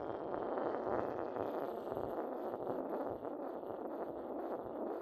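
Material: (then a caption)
Porcelain. A porcelain pestle rubs and grinds against the base of a hollow, inverted white decorated porcelain mortar. The result is a steady, dry, gritty scraping with continuous texture, centred in the mid range around 566 Hz, with little low rumble and almost no high sheen. It stays fairly even throughout, with a slight dip a little past three seconds.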